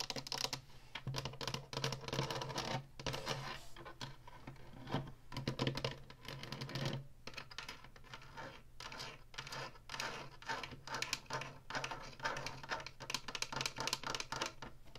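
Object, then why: Plastic game console housing with faux wood-grain strip. Long fingernails tap and scratch across the top, the buttons and the faux wood-grain front strip of an Atari Flashback 2 game console with a hollow plastic housing. The result is a rapid, dense run of dry, clicky taps and raspy scratches with a bright edge and very short ring, over a steady low hum.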